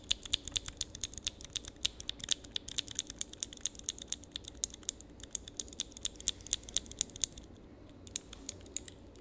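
A small handheld switch tester with a grid of clear plastic keycaps on mechanical switches is pressed repeatedly with the fingertips. It gives a fast, uneven run of sharp, bright, clicky key presses with almost no low end. There is a brief pause near the end before the clicking resumes.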